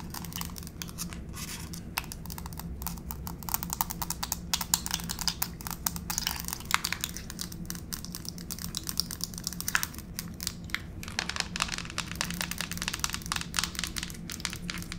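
Long pink fake nails tap and scurry across a solid grey wood-grain laminate floor, making a fast, dense stream of bright, sharp clicks with scratchy skittering between them. A faint steady low hum runs underneath throughout.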